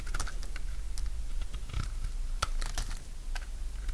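A solid bar of dry yellow soap, held in hand, is shaved into curls with a utility knife blade. Quick, dry scraping and crunching cuts repeat in a steady, close, keyboard-like patter over a low, constant hum.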